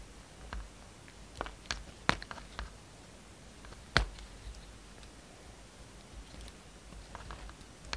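A utility knife blade carves a solid yellow and white striped soap bar held in the palm, shaving and scraping it in ten short, crisp bites. Each cut is a bright, dry click with a soft low thump, separated by near-silent pauses.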